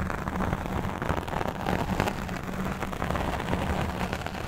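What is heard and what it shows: A black foam microphone windscreen is scratched and brushed with the fingertips and nails of both hands. The sound is a steady, dense, muffled rustling and crackling roar, heavy in the low end with a faint low hum.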